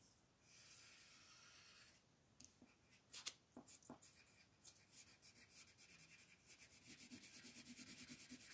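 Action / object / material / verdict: scrape / colored pencil on a thin paper coloring book page / paper / none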